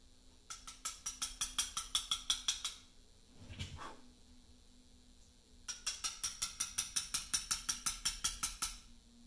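A carver taps a chisel into a large, solid Portland limestone memorial slab with a mallet while letter cutting. Two runs of quick, bright, clicky taps (31 in all) come at a steady pace, each dying away almost at once. A short, low, muffled swell falls in the pause between the runs.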